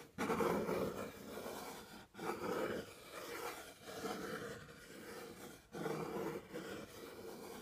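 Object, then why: Cardboard box. fingernails and fingertips tap and scratch the top of a medium, plain brown, hollow cardboard box. Three louder bursts of rough, hollow scraping, with a mid-pitched boxy resonance, stand out against quieter, continuous scratching in between.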